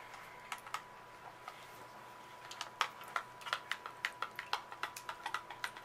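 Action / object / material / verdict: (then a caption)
tap / small cardboard box of muffin mix / cardboard / none. A small printed cardboard box of muffin mix, hollow with contents inside and held in one hand, is tapped on its faces and edges with long acrylic nails. About 23 short, dry, clicky taps are heard, sparse at first and then quicker and more even, with a bright edge and a faint steady tone near 1 kHz underneath.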